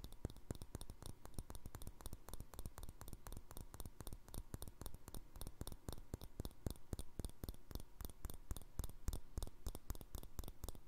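Fingernails tap quickly on the wall of a small, empty, hollow clear glass jar with a green plastic lid. About sixty short, dry clicks come in a rapid, steady run, each with a soft low knock and a bright tick that dies away almost at once. The tapping stays quiet and even throughout.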